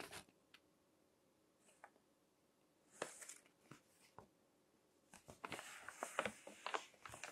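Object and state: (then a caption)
Glossy magazine pages crinkled. Fingertips turn and crinkle the pages of a crinkled glossy paper magazine resting on a table. Soft, scattered papery crackles and rustles break a quiet background, with bright, crisp edges. The crinkling grows denser and busier toward the end.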